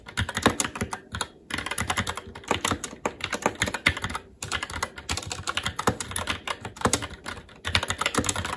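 Fingertips of both hands type continuously on a SteelSeries Apex 7 TKL mechanical keyboard with red linear switches, plastic keycaps and a metal top plate. A steady stream of quick, bright clacking keystrokes, centered around 2 kHz with short decays, is broken by a few brief pauses before the typing resumes.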